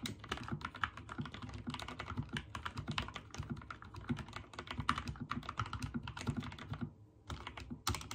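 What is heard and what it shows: Fingertips type rapidly on a backlit mechanical keyboard with white and teal plastic keycaps, producing a dense stream of short, clicky key presses with low thocks and bright clacks. The typing briefly pauses near the seven-second mark, then resumes with a few louder strikes.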